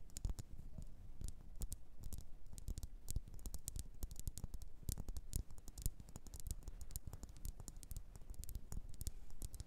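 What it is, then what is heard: Wax pillar candle. Long nails tap and scratch on a solid red faceted wax pillar candle. The result is a steady stream of quick, dull taps and scratchy strokes with a low thud under each and brief bright clicks on top.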